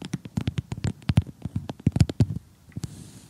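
Short glittery gel nails on both hands tap across an assembled cardboard jigsaw puzzle of colorful houses lying flat. About eighteen quick, dull taps land in an uneven rhythm, each a low, soft thud with a faint bright click that dies away almost at once. A few last scattered taps are followed by a faint hiss.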